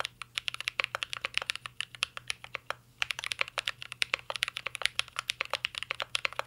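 Continuous fingertip typing on a mint-green Cyberboard R3 mechanical keyboard with plastic keycaps and a metal case. It produces rapid, bright, crisp key clacks with very short decay, pausing briefly near the three-second mark before the steady typing resumes.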